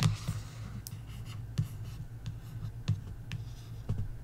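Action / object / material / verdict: scrape / paperback book with card cover / card / none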